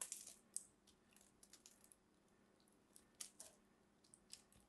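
A small metal blade scrapes and carves a solid green soap ball held in the fingertips, shaving off crumbly pieces throughout. The result is a quiet series of sharp, brittle scraping crackles, bright and high with almost no low end, each dying away almost instantly.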